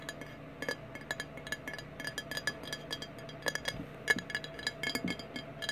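Fingernails tap rapidly on a clear glass Fireball whisky bottle, partly full of amber liquid and lying on its side on a wooden table, striking both the glass and the label. The result is a quick, uneven run of short, bright clinks with a faint glassy ring near 1.7 kHz, each dying away almost at once, over a steady low hum.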